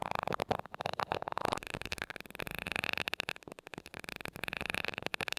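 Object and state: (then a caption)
Metal microphone grille tapped with a glass rod. The tip of a glass rod taps rapidly on top of the small gold metal mesh grille of a mini microphone. It makes a quick, steady run of light, dry ticks with a bright, scratchy edge and almost no ring.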